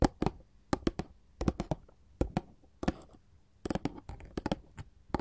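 Long gold filigree metal finger claws tap and scratch a glossy printed paperboard candy box up close. Bursts of sharp, dry clicking taps with bright edges come in quick clusters, with faint scratching between them. Each tap stops almost at once.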